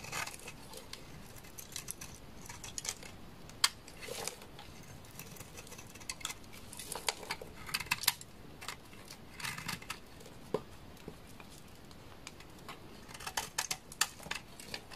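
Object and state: Dry laundry soap bar being shaved.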